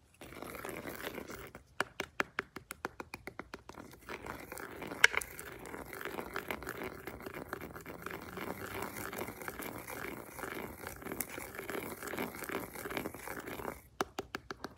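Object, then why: Beeswax honeycomb in a plastic box. A gloved hand presses, pokes and scratches the wax cell surface of a large slab of raw honeycomb, wax comb full of honey, in a clear plastic box using a grooved wooden honey dipper. Sharp, dry clicks and taps open and close the clip, with a steady, bright, sticky crackling scrape filling the middle.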